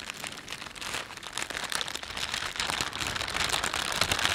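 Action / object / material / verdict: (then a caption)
scrape / thin plastic carrier bag / plastic / none. A thin, empty plastic shopping bag with a panda print is gripped in both hands and rubbed with the fingertips and thumbs. It gives a steady, bright, dry crinkling made of many short, irregular rustles that grow slightly louder toward the end.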